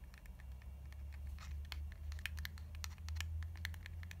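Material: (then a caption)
Soft plastic. Long nails tap and scratch along the body of a lilac soft plastic cream tube held sideways. Quick, irregular, bright clicks and short scratchy strokes come in a steady patter over a constant low hum.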